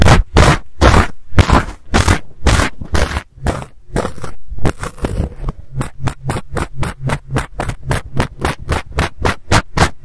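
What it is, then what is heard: Fuzzy fabric microphone cover being scratched. A black fluffy knit or fleece windscreen over a handheld-size microphone, held in one hand, is scratched with fingernails and picked with a thin pink tool, the sound coming from the cover itself. Close, rough scratching strokes come in a steady run of short bursts with a heavy low rumble and a crackly hiss, and they turn quicker and more even in the second half.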